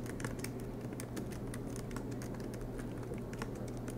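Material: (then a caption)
Plastic. Both hands type continuously with their fingertips on the low-profile black plastic keys of a silver MacBook Pro, set in an aluminium body and resting on a desk mat. A quiet, rapid patter of soft key taps runs throughout over a steady low hum.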